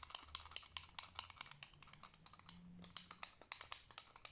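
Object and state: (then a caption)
Plastic fidget spinner with metal bearings. A white plastic fidget spinner with metal bearing rings is held between thumb and finger while the other fingers flick and tap it to spin. A rapid, irregular series of short, bright, dry clicks and taps is heard at a quiet level, with a faint low hum underneath. Each click stops almost instantly, with no ringing after it.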